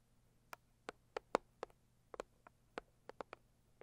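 Long acrylic nails tap the lid of a medium, closed, hollow pink floral cardboard gift box. A slow, irregular series of quiet, dry, hollow taps, each centered around 500 Hz with faint bright clicks, stops almost instantly with no ring, separated by near silence.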